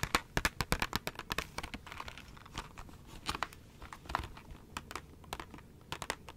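A small KISS press-on nails package, a clear plastic blister on a cardboard backing held in one hand, is tapped and crinkled with long nails. Quick, dry, bright plastic clicks come in a dense burst at the start, then give way to softer crinkling and scattered taps. Each click dies almost instantly, leaving a crisp, close crackle.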